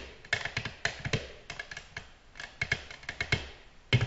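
Long natural nails gently tap a flat, solid, glossy black glass tabletop in a quick, irregular series of short clicks. Each tap is bright and crisp with a soft low thump underneath and dies away almost instantly.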